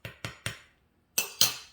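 A cooled, baked pumpernickel rye loaf is tapped on its crust five times, three taps then a pause and two more. Each tap gives a short, bright, hollow knock that fades quickly. The hollow sound shows the bread is well baked through.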